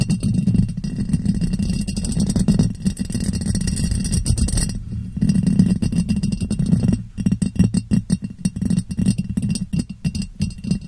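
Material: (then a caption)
Glass. Long painted fingernails tap and scratch the sides of a clear, medium-size ribbed glass jar, hollow and empty, turned upside down over a foam-covered microphone. For about seven seconds a dense, continuous scraping rubs across the ribs with a deep, hollow resonance around 184 Hz. It then breaks into rapid, separate taps that ring only briefly.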